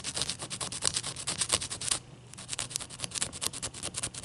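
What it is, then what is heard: Large ice cube. Long nails rapidly tap and scratch a large, clear, solid ice cube resting on a towel, producing a quick run of crisp, bright clicks and scrapes. A brief near-silent pause falls around the two-second mark before the tapping resumes at the same brisk pace.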